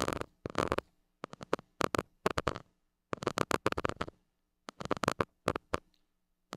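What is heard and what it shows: A white plastic stick tip scratches the hollow metal mesh grille of a small gold mini microphone. Quick bursts of dry, scratchy noise come in uneven clusters with short silent gaps between them, and each scrape stops abruptly without ringing.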